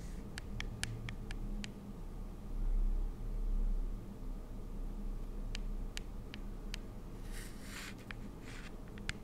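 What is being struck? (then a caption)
Plastic pump bottle. A pink Nuxe cleansing-foam pump bottle, with a hollow plastic body and a clear plastic cap, is held in the hands and tapped and scratched with long acrylic nails. Sharp, bright clicks of nail taps are scattered irregularly over a quiet, low background hum, broken by two soft, muffled handling thumps early on. Brief hissy scratching strokes follow near the end.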